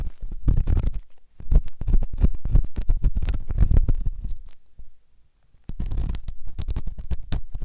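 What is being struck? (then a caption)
Silicone ear microphone scraped with a steel ear pick. A flat stainless steel ear pick scrapes inside a white silicone ear-shaped microphone, producing close, dense, low, rumbling scratches in quick irregular bursts. A brief silence falls near the five-second mark before the scratching resumes.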